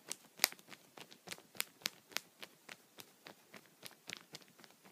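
Light taps with a wooden pencil, first with the eraser end and then with the tip, land on a thin clear punched plastic sheet protector lying on a towel. The result is a quiet, irregular series of very short, dry, bright ticks and crinkly clicks with almost no low end and no ring.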